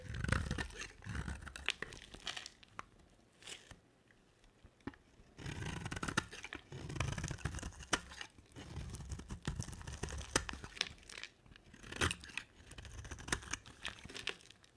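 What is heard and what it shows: A rectangular solid bar of dry white soap with a dark coated surface is held in hand and shaved into curls with a box-cutter blade. Crisp, dry scraping and crunchy tearing strokes come in bursts, with bright sharp edges over a low thudding body. The cutting pauses briefly near the middle before resuming.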